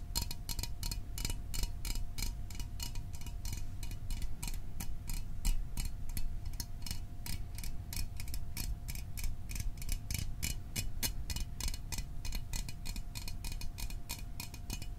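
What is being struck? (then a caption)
Small aluminium soda can. A small, hollow metal Fanta orange soda can is held in the hands and tapped rapidly with fingertips and fingernails. The result is a steady stream of short, bright clicking taps over a low rumble, with a faint sustained tone running underneath.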